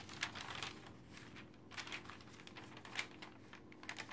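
Long-nailed fingers rapidly flip and slap down the thin pages of an open glossy paper magazine resting on a dark table. Brief, bright page flutters and rustles come in quick, uneven bursts over a faint low hum, with sharper slaps standing out near the end.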